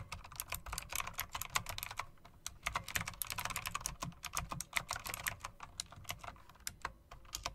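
Fingers with long dark acrylic nails press and tap the round, chrome-rimmed plastic keycaps of an RGB mechanical typewriter-style keyboard. A rapid, uneven run of dozens of sharp, bright clicks sounds, each with a soft low thud beneath it and almost no ring. The clicks come in denser bursts separated by brief pauses.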